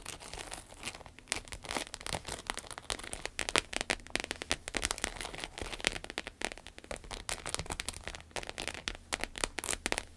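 A small, flat, red glossy croc-embossed vinyl wallet with a zipper lies on a table and is tapped and scratched with long acrylic nails. The result is a dense, continuous stream of sharp, bright clicks and crinkly scratching, like crackling rain, over quiet low rumble.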